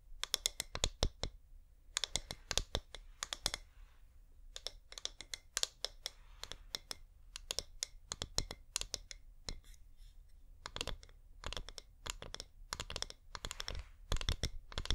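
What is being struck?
Wax-covered plastic LED candle.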